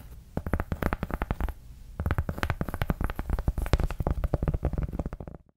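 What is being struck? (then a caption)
Large round cork coaster. Long acrylic nails scratch a large, round, flat, solid cork coaster in quick bursts of dry, dull strokes. The scratching is heavy in the low end with little brightness, and there is a short pause before it picks up again and continues steadily.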